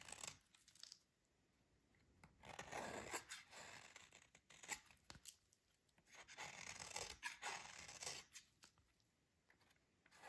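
A metal utility blade scrapes and shaves the surface of a solid, dry, green oval soap bar held by fingers with dark nails. The scraping comes in soft, bright, crisp bursts separated by quiet pauses.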